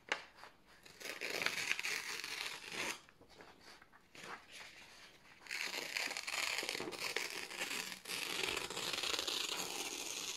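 Fingertips slowly tear thin white printed office paper sheets from the top edge. Long, bright, crackling rips fill the clip, with a softer stretch of quieter crinkling in the middle before the tearing returns steady and sustained to the end.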